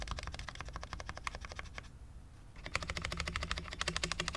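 Fingertips type one-handed on a full-size low-profile Cherry MX10.0 mechanical keyboard with dark ABS keycaps on a steel plate, in a hollow case with no foam, resting on a desk mat. About 28 short, bright clacking taps come at an uneven pace, with a brief pause in the middle before the typing resumes. A steady low hum sits underneath.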